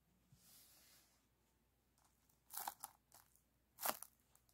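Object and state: Aluminum foil flexible duct hose.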